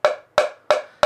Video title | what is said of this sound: Comment Réparer un Carrelage qui sonne Creux | ở đây nó nghe có vẻ rỗng